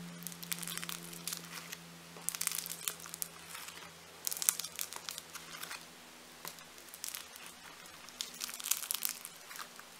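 A large, solid slab of bright pink foam-bead clay is folded, pinched and pressed by thumbs with glittery nails. The handling produces bursts of dense, bright crackling and crinkling, like fine beads popping, over a faint low steady hum.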